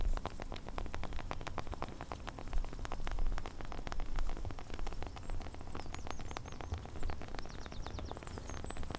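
Long teal-painted fingernails scratch and tap the rough bark of a large, solid tree trunk, including a smooth stripped patch, close to a handheld recorder, with a dog in the background. Dense, rapid, crisp clicks and scratchy taps patter over a low rumble, giving a rain-like crackle throughout.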